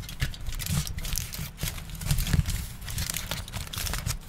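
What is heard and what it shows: A large crumpled aluminium foil sheet is held up by hands and crinkled and folded. A steady, bright crackling and rustling carries on throughout, with short sharp snaps and a soft low rumble underneath.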